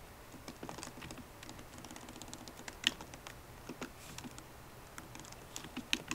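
Long nails and fingertips type on a MacBook Pro laptop keyboard with plastic keycaps set in an aluminum body. The result is a quiet, irregular stream of light, bright tapping clicks that die away instantly, with a couple of sharper, louder taps standing out from the patter.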